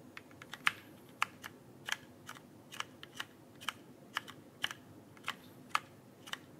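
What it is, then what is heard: Plastic mechanical keyboard. Fingertips type on the plastic keycaps of a backlit mechanical keyboard held flat in front of the body. There are about 19 short, sharp clicks with bright, clacky tops, some in quick pairs and others spread out at an uneven pace. Each click dies away almost at once, leaving only a faint low hiss between keystrokes.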